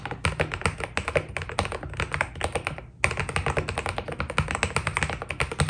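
Two-handed fingertip typing on a white Keydous NJ80 mechanical keyboard with PBT keycaps produces a rapid, steady stream of short, clacky keystrokes. Each stroke has a low, muted thock underneath a bright tap, with almost no ring. A brief pause just before the three-second mark is followed by the typing picking back up at the same pace.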